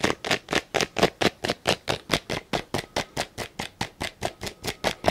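Fingertips and nails tap and scratch a small, hollow black-and-yellow plastic tape measure case close up and fiddle with its lock button. About 24 short, dry, scratchy bursts come in a quick, roughly even rhythm, each hollow and bright with almost no ring.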